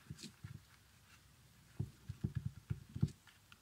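Fingernails scratch and tap on an empty small leather baby sandal with a strap and stitched sole, working over both the upper and the sole. Quiet, soft, low thumps and faint scratchy brushing are heard, with a cluster of firmer, dull taps in the second half.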